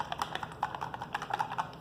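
A new plastic liquid foundation bottle is shaken, as its instructions direct, so the mixing ball inside rattles through the product in a quick run of about fifteen light, bright clicks. The contents sound watery, and the formula is confirmed to be very liquid.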